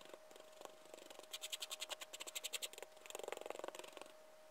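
A gloved hand scratches and rakes a liquorice stick through a small pile of loose white sherbet powder on a flat white surface. About twenty quick, dry, gritty strokes come in two rapid bursts, bright and crisp, over a faint steady tone.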